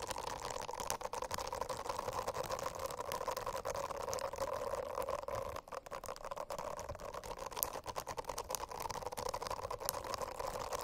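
Long acrylic nails scratch across a rainbow-striped silicone notebook cover whose surface is covered in dense small bristles, resting on a flat notebook. The result is a steady, crackly scratching texture with a humming tone around 500 Hz and 1 kHz, broken by many quick bright ticks. A brief dip comes near the middle.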